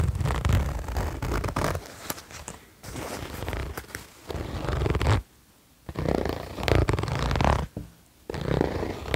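Fingertips pull the zipper and rub the smooth nylon fabric of a beige quilted nylon vest lying flat. The result is bursts of scratchy, rasping rustle with a heavy low, muffled body. The bursts break off into near-silence twice, around 5 and 8 seconds.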